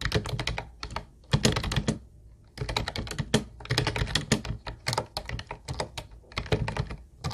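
Fingertips of both hands type rapidly on a hollow, teal plastic Ubotie keyboard with round white plastic keys. Quick, bright, clacky keystrokes with a hollow low thump come in dense bursts, with short pauses near the start.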